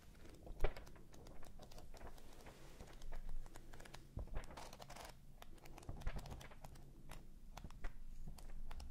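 The pages of a thick red-covered paperback book are riffled by thumb close in front of the microphones. The result is a quiet series of quick, dry paper flutters and crinkling ticks, with a few sharper flicks, over a steady low hum.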